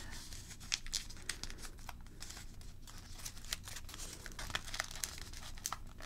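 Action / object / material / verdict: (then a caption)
scrape / folded paper crane / paper / none. A nearly finished red origami paper crane is held up off the board and worked with fingertips and long nails. Soft, irregular crinkling comes through with crisp, bright ticks and small crackles over a low, steady background rumble, each one dying away almost at once.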